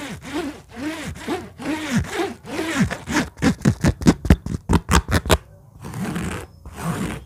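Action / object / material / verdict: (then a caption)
scrape / synthetic fabric bag with zipper / synthetic fabric / none. Long natural nails scratch and tap on an empty orange synthetic (fabric or faux-leather) bag with a black zipper and metal pulls, lying flat on a table. Slow, raspy scratching strokes with swooping low tones give way to a quick run of sharp, hollow taps near the zipper, then soft scratching resumes.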